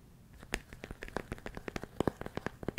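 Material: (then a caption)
Plastic. A large clear plastic food storage container with a lid, full of rice, is held close and tapped and scratched on its walls with fingertips and nails. About nineteen quick, dry clicks and crackly scrapes come in an uneven run with faint grainy rustling between them, each one stopping almost instantly with no ring.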